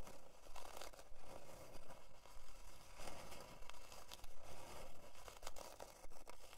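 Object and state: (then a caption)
Plywood board being scratched. Long dark fingernails scratch across a thin, flat, solid plywood heart-shaped board near the top by the twine. The result is a steady series of short, dry scratching strokes, about one and a half per second, over a low rumbling undertone.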